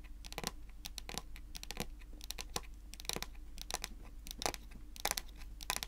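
Long pointed acrylic nails tap and scratch across a large, solid, glossy dark brown wooden table top. Quick, sharp, bright clicks come in irregular bursts, with dry scratching rasps between them over a faint steady low hum. Each tap dies away almost instantly.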